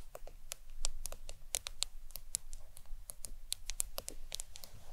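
Long acrylic nails tap the glass screen of a black smartphone lying flat on a towel. The taps are quick, sharp, bright clicks that stop almost instantly, in a steady irregular run over a faint low rumble.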